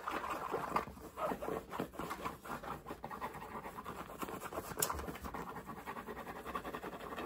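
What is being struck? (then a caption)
Cotton baseball cap. Fingertips of both hands scratch and tap the brim and crown of a black cotton baseball cap with a CAT logo, worn on the head. It makes a fast, continuous run of soft, dry scratching rasps and muffled fabric taps, mostly in the midrange with little low end.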